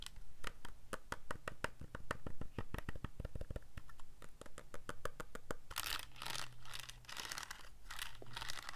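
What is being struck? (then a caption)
Plastic calculator. Fingertips press the keys of a black plastic Casio calculator in a quick run of short, dry clicks, then scratch across its screen area. The scratching brings brighter, rasping bursts over a low, steady hum.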